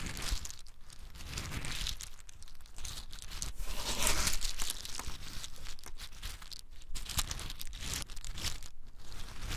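A handful of small, hard, brown in-shell pine nuts is held in cupped hands and shaken, rubbed together and poured from one hand to the other. This makes a dense, continuous clicking, crunching rattle with a crinkly, bright edge over a low rumble. The sound swells and fades in waves and peaks around the middle.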